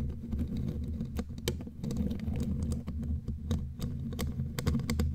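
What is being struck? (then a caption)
Metal mesh microphone grille. Long glittery claw nails tap and scratch the bare black metal mesh grille of a studio microphone. The result is a dense, uneven patter of sharp, bright clicks and scraping over a heavy, boomy low rumble.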